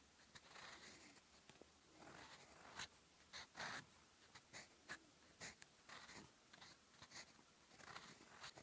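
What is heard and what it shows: A gold fountain pen nib, held at the fingertips, scratches across a lined cream paper notebook page in writing strokes. Quiet, bright, dry scratching comes in short bursts of varying length with brief pauses between strokes, with almost no low end or ring.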